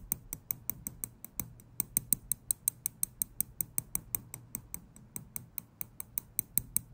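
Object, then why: Small steel tweezers. Small steel tweezers held close to a microphone have their tips clicked together and tapped with fingers, giving a steady run of about 35 sharp, bright metallic ticks over seven seconds. Each click is very short with almost no ring, set over a soft low rumble.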